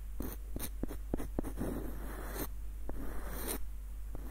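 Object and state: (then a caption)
Wooden screw nutcracker. Short fingernails scratch and trace over a small, hollow, light-wood screw nutcracker with a dark knob, running across its wooden body and ribbed screw threads. Quick dry scrapes and soft ticks come in a loose, uneven series over a steady low hum.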